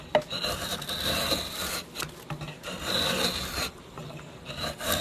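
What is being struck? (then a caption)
Oak board. A steel drawknife blade is drawn along a flat, solid oak board with visible grain, about a hand wide and clamped in place, scraping and shaving its surface. The strokes make a bright, dry rasping hiss in uneven passes, broken by short pauses and a sharp tick at the start.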